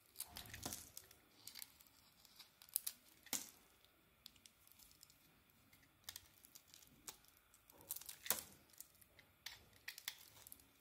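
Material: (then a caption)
Soap. A palm-sized, solid red-striped soap bar with a lilac core is held in the hand and carved and scraped with a small metal blade, with shavings falling off. Quiet, bright, crisp scrapes and crinkly tearing cuts come in short, separate bursts with very little low end. Each scrape dies away almost instantly.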